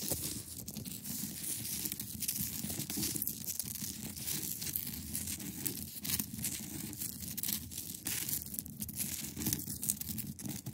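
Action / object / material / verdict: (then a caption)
scrape / block of ice / ice / none. Long acrylic nails scratch across the top and sides of a large, solid, clear ice block. The result is a dense, continuous scraping with a bright, hissy high end over a grainy low rumble, holding a steady level throughout.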